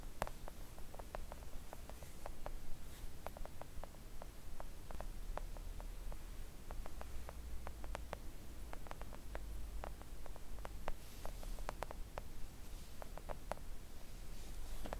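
Long acrylic nails gently tap a flat pink silicone nail art mat lying on a table. The result is a quiet, irregular stream of soft, short clicks with little ring, sitting over a steady low rumble.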